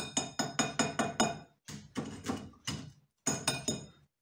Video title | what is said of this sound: Using my long lost secret ingredient | I think you can hear how crispy they are